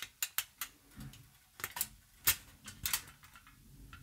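A long, crumpled sheet of aluminium foil is held upright and crinkled with fingertips and long nails. The result is a string of sharp, bright, irregularly spaced crackles and rustles that die away almost instantly, with quiet gaps between them.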